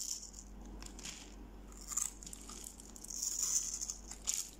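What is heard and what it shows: A metal knife blade scrapes and slices small cubes off the scored face of a solid, dry, pale yellow bar of soap, hand-sized and held in one hand, over a pile of soap shavings. Quiet, crisp, bright crackling and rattling scrapes come in short bursts, with sharper cuts near 2 seconds, around 3.5 seconds and near 4.3 seconds.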